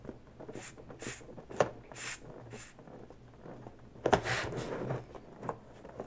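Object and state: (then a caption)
Latex balloon being scratched and squeezed. Long natural fingernails grip a smaller inflated pink latex balloon, hollow and air-filled, lightly scratching and squeezing it. Soft, bright scratchy strokes repeat at an uneven pace, with a couple of sharper squeaky taps of the rubber. The sound stays quiet and close throughout.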